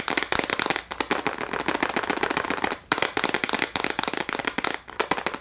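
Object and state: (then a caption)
Plastic case of gel crayons. A small clear plastic case full of gel crayons is held up and tapped rapidly with long nails on both hands. Dense, dry, bright clicking taps come in quick bursts, each dying away almost at once, with a few brief pauses between runs.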